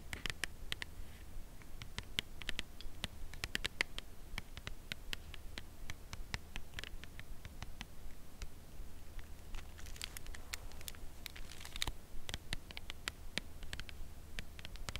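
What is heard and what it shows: Long nails tap the face of a full cardboard chocolate bar box held in the hands and tilted slightly. The result is a loose, irregular stream of quick, dry, bright ticks that stop instantly, over a quiet, steady low hum.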